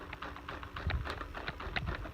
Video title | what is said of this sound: Dyson v7 animal pro (hepa) | and I shake this you can hear it you can see it wiggle side to side it's not very secure